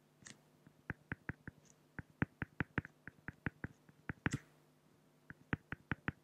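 A pen tip draws dense hatching near the eye on a flat, solid acrylic (plexiglass) sheet, producing 24 short, dry tapping strokes with a bright, clicky edge. The strokes come in quick, fairly even runs, pause briefly just before the end, then resume. A faint low hum sits underneath throughout.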